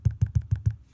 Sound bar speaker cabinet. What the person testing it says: you can hear when I tap on there how hollow this box is